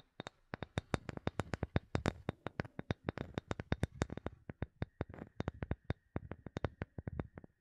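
Long nails rapidly tap a solid, palm-sized light bamboo wood block held above the microphone, making about fifty short, dry clicks with a low, hollow body and quick bright ticks. The taps come in a steady, uneven patter with almost no ring after each one.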